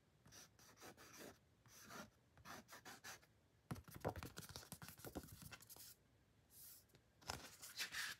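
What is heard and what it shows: A fingertip and short nails rub and scratch across the print on a flat, thin white card-stock booklet cover marked "THE ALBUM," held in hand. Quiet, dry, bright scratching strokes come in quick bursts with brief pauses, followed by a denser stretch of rapid rasping and then a few slower swipes. Each stroke stops dead with no ring.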